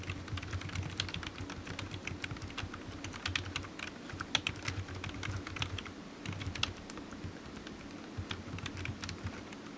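Fingertips of one hand type on a solid black low-profile plastic computer keyboard resting on a desk mat. A steady stream of quick, bright plastic key clicks runs throughout, each dying away almost instantly, over a faint steady low hum.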